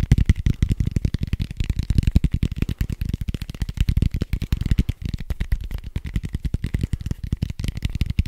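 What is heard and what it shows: A red foam die with white dots, made of soft foam, is held close to the microphone and tapped rapidly with fingertips and nails. The result is a fast, steady stream of short, dull, muffled thuds, heavy in the low end with almost no brightness, each tap dying away almost at once.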